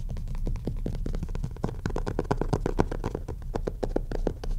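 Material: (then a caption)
Cloth, board. Fingertips and nails of both hands quickly tap and scratch the front cover of a solid maroon cloth-covered hardcover book lying flat on a desk. The result is a fast, continuous run of dull, short knocks mixed with dry scratching, low and muffled with almost no ring.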